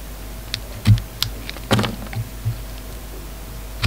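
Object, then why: Bar of soap cut with a knife blade. A utility knife blade carves a hand-sized, solid pink bar of soap held in one hand, shaving off curled strips. The result is a series of short, soft scraping and cutting strokes with dull, low thuds and brief bright crackles, each fading almost at once over a quiet hiss.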